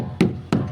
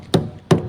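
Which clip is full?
The second.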